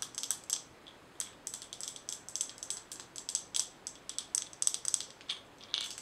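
Long nails tap on a glass mason jar with a gold metal lid, full of colorful small items, striking both the glass and the lid. The result is a quick, irregular series of crisp, bright clicks and ticks, each dying away almost at once, with no low end.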